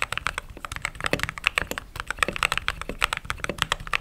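Fingertips type continuously on a mechanical keyboard with white and cream plastic keycaps. About 29 quick, dry clicks and clacks come in a steady, uneven rhythm, each bright and sharp with almost no ring, peaking around 2.6 kHz, over a faint low rumble.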